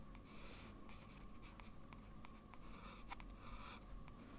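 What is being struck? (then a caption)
Paper sheet under a metal pen nib. A blue fountain pen with a metal nib is drawn across a large flat sheet of white drawing paper on a desk in small strokes. Its quiet, bright, scratchy strokes repeat at an uneven pace over a steady low background.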